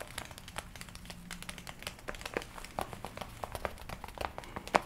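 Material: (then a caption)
Leather. Long-nailed fingers scratch and squeeze the shoulders of a worn red and black leather jacket. The result is a quiet, steady stream of dry crinkles and short, sharp scratchy ticks with bright edges. A few louder creaks stand out near the end.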